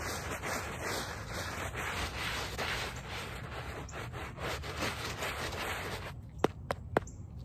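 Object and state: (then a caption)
Woven rug backing being scrubbed. A small handheld brush with a brown back scrubs in circles over the back side of a small wet, soapy woven rug lying on pavement. It makes a steady, hissing, wet scrubbing sound for about six seconds, with a faint high-pitched whine running underneath. The scrubbing then stops, and three sharp, brief taps ring out in the quieter ending.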